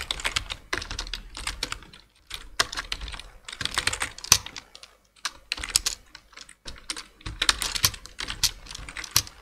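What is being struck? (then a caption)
Plastic computer keyboard. Two-handed fingertip typing on a black plastic full-size computer keyboard produces bursts of quick, bright key taps with almost no ring, separated by brief pauses.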